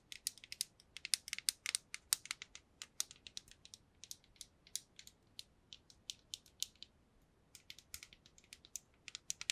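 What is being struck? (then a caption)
Small clear plastic cube box with loose contents. A small transparent plastic or acrylic cube box filled with small pink loose pieces is shaken and tapped with long nails, making the contents rattle inside. The result is a quick, quiet run of dozens of sharp, bright clicks and rattles with almost no low end and no ring after each tap.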